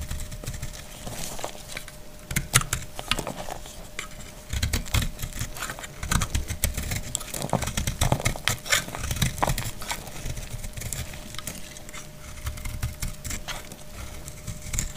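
A utility knife blade cuts and scrapes a palm-sized, solid, dried brown household soap bar held in the hand, and brittle flakes fall away. The clip is a dense run of crisp scraping, crackling and sharp bright clicks over soft low thumps. A faint steady tone hums underneath throughout.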